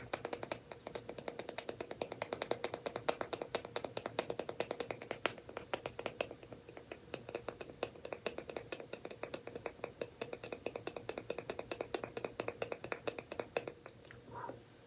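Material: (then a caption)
Wood. A small, thin, solid light-wood disc engraved with a rebel emblem is held in the fingers and tapped and scratched with fingernails. The result is a fast, steady stream of crisp, bright clicks with almost no ring, mixed with light scratching, until it stops just before the end.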